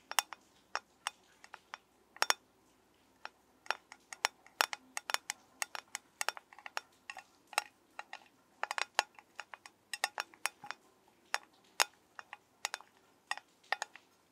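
A metal soap tin is tapped with the fingers in a quick, irregular series of short, crisp clicks. Each tap is bright and dies away almost instantly, with some faint low resonance under the sharp attacks.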